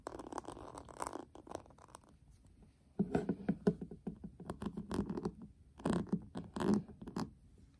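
A flat, hollow, hand-sized metal tin eyeshadow palette with a pink printed lid and gold metal rim is held in the hands and tapped and scratched with fingertips and short nails. Rapid dry scratching and light tapping come in bursts, quieting briefly near the middle. Louder clusters of hollow, low-toned taps mixed with scraping follow.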